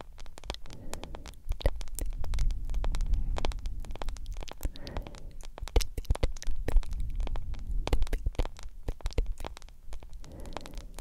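Long nails tap rapidly and irregularly on a solid smartphone with a yellow plastic case and black glass screen. The result is a steady stream of sharp, dry clicks over a low, rumbling hum that dominates the sound.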